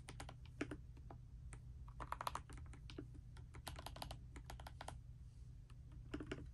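Fingertips and long nails type continuously on a pastel dust silver D84 mechanical keyboard with plastic keycaps resting on a bedspread. The result is a quick, uneven run of short, sharp clicky clacks with bright tops over a steady low hum.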